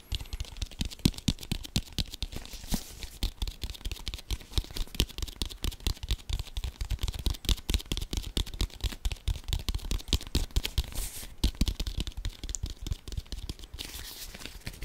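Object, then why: Leather American football. A brown leather American football, hollow and inflated, is held in front of the face and rapidly tapped and scratched with the fingertips. A dense stream of quick, dull, low thumps carries short scratchy, crinkly leather texture on top. Each tap dies away almost instantly.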